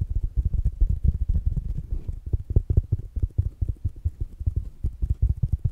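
A small black dome-shaped smart speaker, with mesh fabric covering a hard plastic body and solid, is held in one hand and tapped with the fingertips and nails of the other hand. The taps come as a rapid, steady run of short, dull, low thumps with almost no bright content. Each knock dies away almost instantly.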